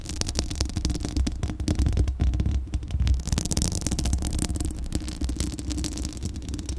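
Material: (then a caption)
Metal mesh. Long acrylic nails from both hands scratch across the hollow metal mesh grille of a Blue Yeti microphone. The result is a dense, continuous run of rapid scraping strokes with a heavy, rumbling low-end boom and thin, bright crackle on top.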